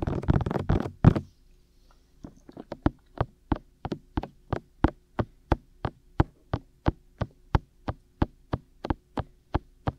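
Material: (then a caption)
Silicone. Fingertips and short nails of both hands tap the white, hollow, ear-shaped silicone ears of a black 3Dio binaural microphone on a tripod. A quick flurry of dense, overlapping taps is followed by a brief silence, then a few scattered taps that settle into a steady, evenly spaced rhythm. Each tap is a short, dull, low thud with no ring.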